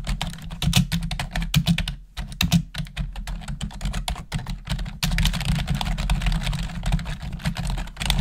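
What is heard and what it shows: Long nails and fingertips type rapidly on a black plastic desktop keyboard, producing a fast, uneven stream of sharp clicks and clacks. The clicks sit over a steady low hum, and a brighter hiss joins from about the five-second mark.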